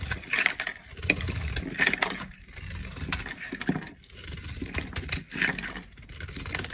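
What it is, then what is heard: Dry bar soap being carved. A solid green bar of dry soap is held in the hand and carved with a utility knife blade, scraping and cutting strips off into shavings. Repeated crisp, dry scraping strokes come in bursts, bright and crackly on top with a soft low rumble beneath, and each stroke ends abruptly with almost no ring.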